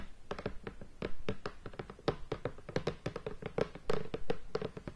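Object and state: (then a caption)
Shrink-wrapped cardboard game box. Long painted fingernails tap and scratch across the lid of a medium rectangular cardboard Race for the Galaxy board game box, still in its plastic shrink wrap and lying flat on a bed. A quick, uneven run of dull, hollow taps with a faint plastic scratch between them, each tap low and soft with a slight tone and dying away almost at once.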